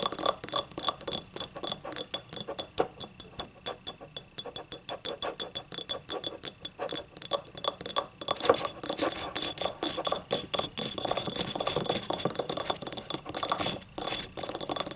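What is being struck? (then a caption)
Small ribbed ceramic cup. Long nails tap and scratch rapidly along the vertical ribs of a small, hollow, yellow ribbed ceramic cup standing upright. A fast run of short, bright clicks gives way after about eight seconds to denser, rasping scratches. Each tap has a faint ceramic tone that dies almost at once.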